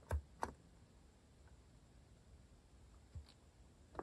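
Four separate fingertip key taps on a compact white-case Hanmumu mechanical keyboard with cream and orange cat-themed plastic keycaps, resting on a wooden desk. Each tap is a short, dry, low thock with a slight clicky edge. There are two quick taps near the start and two more toward the end, with near silence between them.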